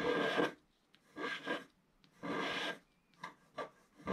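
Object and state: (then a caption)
Scratch-art paper page. A wooden stick scratches the coating off a black scratch-art paper page while the other hand holds the page flat. The result is a series of dry, raspy scraping strokes, some long and some short, with quiet pauses between them.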